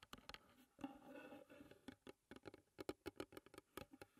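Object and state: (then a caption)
Wooden tea box. Long nails tap and scratch on the painted lid and sides of a closed, hollow wooden tea box. Short, dry, hollow knocks with a woody mid-range body alternate with a softer, sustained scratching stretch early on. The taps then come in a quick, uneven run of sharp clicks that die away almost instantly.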